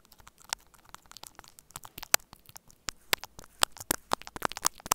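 Two metal spoon-tipped tools held by the fingertips tap and scratch the cable joints at both ends of a small, hollow white plastic earphone inline microphone remote taped to a table. The result is a dense, irregular stream of quick, dry clicks and crackly scrapes with a bright, crisp edge and almost no low end. Sharper ticks stand out more often in the second half.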